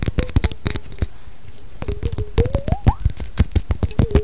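A small, clear, thick-glass perfume bottle with a label is held in the hands and tapped and scratched with long decorated nails. Rapid, sharp clicks and taps come in quick bursts, with short scratchy rubs and a faint squeaky tone that slides upward in between.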